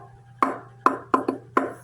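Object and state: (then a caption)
Hollow ukulele body. Five knocks on the plastic bowl body of an Amahi soprano ukulele, which has a side port. Each knock gives a short, hollow, echoing tone centred near 1 kHz, with a faint low hum underneath throughout.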